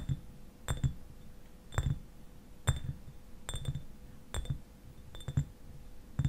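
Fingernails tap the upper glass near the cap of a clear glass eyewash bottle that is partly filled with liquid and standing upright. The taps come as short, bright clinks, often in quick pairs, over a soft low thump and a faint steady hum. Each tap dies away almost at once, with quiet gaps between them.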